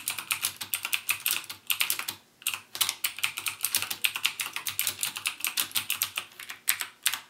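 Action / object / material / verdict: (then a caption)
tap / plastic mechanical keyboard / plastic / none. Fingertips type continuously on a backlit mechanical keyboard with plastic keycaps and Cherry MX Blue switches. The result is a rapid stream of crisp, bright clicks, centred near 2.6 kHz with almost no low end. Each click dies away almost instantly, and there is a brief pause at about 2.3 seconds before the typing resumes.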